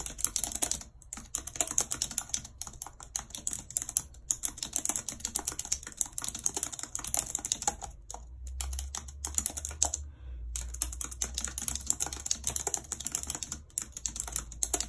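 Long red acrylic nails type rapidly on a full-size white plastic computer keyboard with a numpad and hollow keys, lying on a world map. A dense stream of sharp, bright clicks and clacks runs throughout, each dying away almost instantly, with a few brief pauses near the start and again around the middle. A faint low hum sits underneath.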